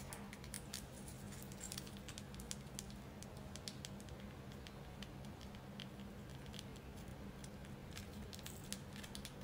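A solid, white, carved, tiered selenite crystal tower is turned in the hands and tapped with long acrylic nails. Quiet, rapid, bright little clicks and patters scatter across the clip over a steady low hum.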